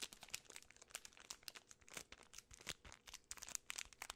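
A large, full Twix bar in a gold and red plastic film wrapper is handled and crinkled, possibly pulled at by fingertips and long nails. Quiet, bright crackling bursts come in a rapid, irregular stream, with almost no low end and no ring after each crinkle.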